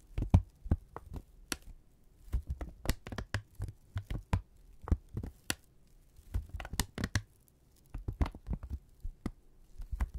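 A thin brown kraft paper strip, held in both hands, is crinkled, snapped taut and rubbed with fingertips. The result is a series of short, dry, low-heavy snaps and crackles with brief bright edges, coming in irregular bursts separated by short pauses.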